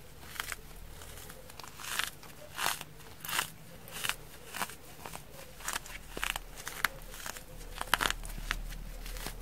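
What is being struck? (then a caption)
Foam kitchen sponge. A small yellow rectangular kitchen sponge, frozen stiff into a solid foam block, is held in both hands and squeezed and pressed with fingertips and long nails. It gives off bursts of crisp crunching and crackling as the frozen foam gives way, between quieter stretches.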